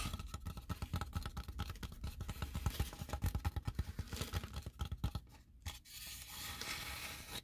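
Long painted nails scratch and rub along the textured outer edge and walls of a large, empty, hollow tray-shaped white expanded-polystyrene foam insert from a Blue Yeti microphone box. The result is a rapid run of dry, scratchy strokes with a heavy low thump in each. Near the end it eases into a quieter, steadier rubbing.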